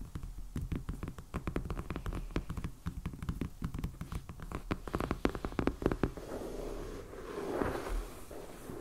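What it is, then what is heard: Shrink-wrapped hardcover sketchbook. A medium, solid black hardcover sketchbook in plastic shrink wrap, lying on a table, is tapped and lightly scratched with the fingertips and nails of both hands. The first six seconds are a rapid run of dull, short knocks with little ring and a low, thumpy body. After that the sound turns into a softer, continuous scratching rustle that swells near the end.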